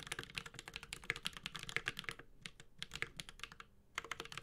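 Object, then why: Mechanical keyboard with aluminum case and ABS keycaps. A Space65 Cybervoyager 65% mechanical keyboard with Holy Panda switches, an aluminum case and ABS keycaps is typed on continuously with the fingertips of both hands. The result is a fast stream of short, bright, clacky keystrokes centered around 2 kHz with very little low end, each dying away almost instantly. The typing briefly thins out around 2.5 seconds and again near 3.7 seconds before resuming.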